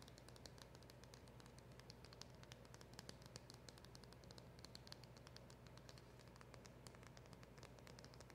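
Long acrylic nails tap and scratch fast on a small, hollow, black printed cardboard packaging box held in both hands. The result is a quiet, steady stream of bright, dry clicks and scratchy rustling over a low, soft hum, with each tap dying away almost at once.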